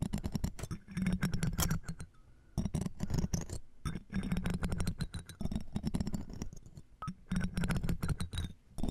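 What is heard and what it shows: Metal tweezers and a thin metal tool scratch the round metal mesh grille of the right microphone, which is framed by a jeweled earring. Dense bursts of crackling, scraping clicks come in clusters with short quieter gaps between them. The sound is heavy and muffled in the low end, with bright ticks on top.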